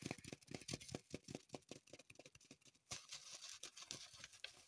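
Long pointed acrylic nails scratch and tap a small dark green floral foam block still in its thin plastic wrapper, held in the hands. Quick, uneven taps with a dull thud come first, then the sound turns to a steady bright crinkling and scratching of the plastic.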